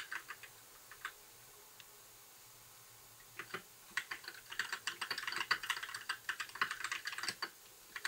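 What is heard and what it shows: Fingertips type on a compact white mechanical keyboard with plastic keycaps, starting with a few sparse keystrokes and then going quiet for about two seconds. The typing resumes as a fast, dense run of short, bright plastic clacks centered around 1.5 kHz, each dying away almost at once.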